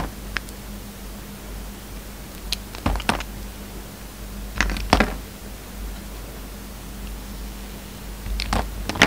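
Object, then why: Bar of soap cut with a knife blade. A hand-held solid white soap bar with red flecks is carved in V-cuts and scraped with a utility knife blade. Short, crisp scraping and cutting bursts come in clusters, bright at the top, over a steady low hum.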